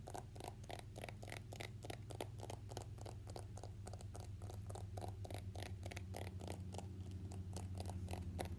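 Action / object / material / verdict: tap / smartphone in a plastic case / plastic / none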